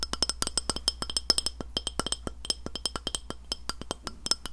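Long nails tap and clink on a round white glass plate, flat and solid, held near the recorder. About 30 quick, sharp taps come in an uneven rhythm, each a bright, glassy click that dies away almost at once over a faint low hum.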